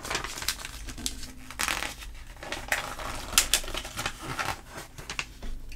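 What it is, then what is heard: Glossy paper magazine. Fingertips of a hand with long painted nails rub the flat glossy paper pages of a thick trade catalog magazine lying open on a table, and flip the pages over. The result is a soft, steady rustle broken by crisp, bright crinkles and sharp swishes as each page turns.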